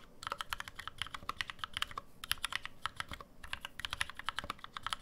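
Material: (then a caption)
Aluminum, plastic. Rapid two-handed fingertip typing on a black NovelKeys NK65 65% mechanical keyboard with an aluminum case, plastic keycaps and lubed NovelKeys Cream switches, resting on a deskmat. It makes a quick stream of short, dry key clacks with bright tops and a soft low thud, each dying away almost at once.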